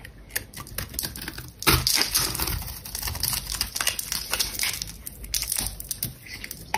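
A metal box-cutter blade repeatedly scrapes and cuts thin flakes from the sides and surface of a palm-sized solid red bar of dry soap held in the hand. The sound is a dense, irregular run of crisp, bright scraping and crackling strokes, with a louder, fuller rasp partway through.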